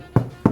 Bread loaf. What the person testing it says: tap on the bottom and that is a beautiful hollow sound that's what we want this bread is done